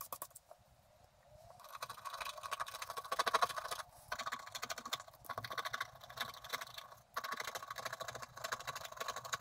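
A wooden stylus scrapes the coating of a thin, flat scratch-art card in quick strokes. After a quiet start, bursts of dry, rapid scratching come and go with brief pauses, the scraping sitting in a bright midrange with an airy high hiss.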